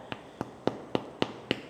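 Six light taps on a freshly baked focaccia just out of the oven, still in its pan and starting to come away from the edges, give short, dull, hollow knocks that die away almost at once. The hollow sound shows the bread is baked through.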